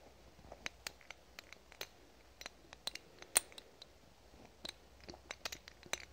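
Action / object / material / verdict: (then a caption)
tap / small amber glass dropper bottle / glass / none. A small amber glass dropper bottle with a white label and a black dropper cap is held in both hands and tapped with fingernails. The taps are quiet, irregular, sharp, bright clicks that die away almost instantly, over a faint steady low hum.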